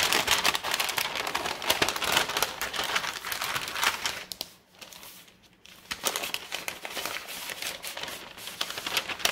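Fingertips with long red-painted nails fold, lift and crinkle a large, thin, brown kraft paper Staples mailer bag that is empty and flat. The result is a dense run of bright, crisp crackling and rustling with almost no low end. It dips to a quieter lull near the middle, then builds back up.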